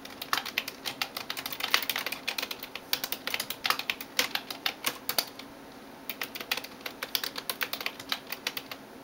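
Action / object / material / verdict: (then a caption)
tap / plastic computer keyboard / plastic / none. A hand types in rapid taps with fingertips and nails on the keys of a backlit plastic computer keyboard. Dozens of short, bright, clicky ticks with almost no low end come in fast bursts, with a brief pause just past the midpoint before the tapping resumes.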